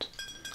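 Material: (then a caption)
Glass. A glass bottle of Thatcher's Zero alcohol-free Somerset cider (0.05%) is tapped three times, giving three clear, bright glass clinks. Each clink carries a high ringing tone near 3.9 kHz that fades quickly.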